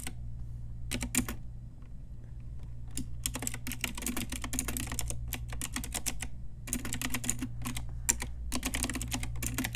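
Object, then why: Mechanical keyboard with round plastic keycaps. An Ajazz pink retro typewriter-style mechanical keyboard with round plastic keycaps is typed on with long nails and fingertips. Bursts of bright, sharp plastic clicks come in quick runs with short pauses between them. A steady low hum runs underneath throughout.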